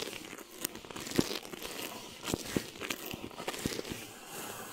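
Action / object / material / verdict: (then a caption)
scrape / plastic film over a mesh microphone head / plastic film / none. Clear plastic film stretched over a mesh microphone head is rubbed with a flat hand, then scratched with the long nails of both hands. The result is a close, continuous crinkling and crackling texture with bright hiss, broken by scattered sharp clicks and crunches at an irregular pace.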